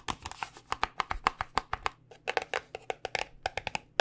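A small white paperboard cosmetic box is held close and tapped with long nails in a quick, uneven run of about 24 taps. Each tap is a dry, crisp click with a hollow midrange tone and bright edges, dying away almost instantly with no ring. A faint low hum sits under the taps throughout.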